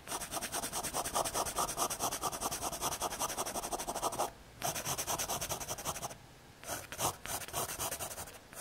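A graphite pencil scratches hatching strokes across a small square of thin, solid brown MDF fiberboard. The rapid, bright, raspy strokes run in quick back-and-forth bursts, broken by two short pauses before resuming.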